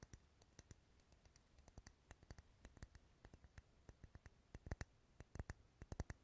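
Fingernails tap the side of a lit, dark red solid wax pillar candle held close to the mic. About 36 quick, irregular taps sound as quiet, dry clicks, each with a soft low thump and a bright tick that dies away instantly. The taps grow louder and come in tighter clusters toward the end.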